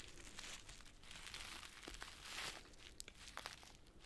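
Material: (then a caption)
Plastic foil. A yellow Gallina Blanca chicken soup sachet of flexible plastic foil, filled with dry noodles, is squeezed in both hands while long nails scratch and crinkle it. Dense, bright crinkling and rustling runs throughout, swelling midway, with a few sharp ticks and crackles near the end.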